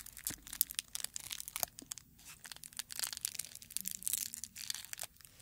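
A dried dark red rose bud is held in the hands while fingers crumple and rub its brittle petals. Dense, bright crackling and crunching snaps come in quick, uneven bursts with almost no low end, each crackle dying away instantly.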